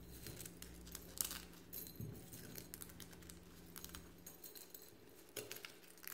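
Fingers in white rubber or latex gloves pick up and crush a few thin, hollow, brittle brown and white eggshell fragments lying in a clear glass bowl, with some sound possibly from the shells touching the bowl. Quiet, bright crackles and crinkles come in quick, uneven bursts over a steady low hum, with sharper snaps near the start and end.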